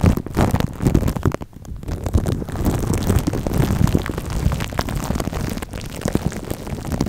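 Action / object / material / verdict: scrape / plastic cling film stretched over a metal microphone grille / plastic film / none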